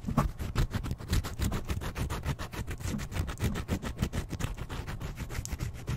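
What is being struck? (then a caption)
Slice of brown bread. Fingertips and nails scratch and rub the surface of a single large slice of wholemeal or brown bread, soft with a crust edge and held in one hand, close to the microphone. The sound is a dense run of quick, irregular, dry scratches, mostly low and muffled, with faint bright crackle on each stroke.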